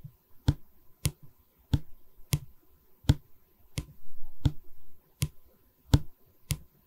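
Long nails tap a solid pine bar of a wooden canvas stretcher frame held in both hands. Ten short, dry, low knocks with almost no ring are heard, with soft scratching on the wood in between.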